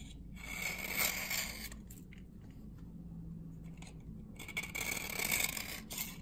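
A metal knife blade is scraped along the surface of a dry, solid glycerin soap bar from 1978 held in the hand, and flakes collect on the blade. Bright, dry rasping scrapes with a steady whistle-like tone near 2.2 kHz come in two busier bursts around a quieter, duller middle stretch.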